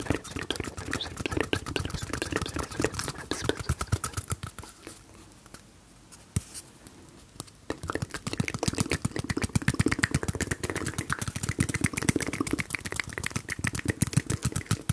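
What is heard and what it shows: A small, hollow, empty white cardboard toilet paper tube is held in both hands close to the microphone and tapped rapidly with the fingertips, making dense, dull, low hollow taps with crisp bright clicks. The tapping quiets to sparse soft sounds midway, then returns more strongly, and faint mouth sounds may be mixed in.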